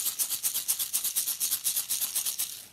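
A can containing rice is shaken back and forth, giving a bright, hissy, maraca-like rattle in rapid, evenly spaced pulses. It is a different kind of sound from a shaken can of popcorn.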